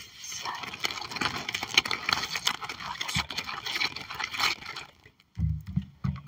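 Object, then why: Clear plastic sleeve sticker album page. Long acrylic nails on both hands scratch and tap across a clear plastic sleeve album page holding puffy fish stickers. Dense, bright crinkly scratching and quick clicky taps fill the first five seconds. After a brief pause, a few soft, duller thumps follow.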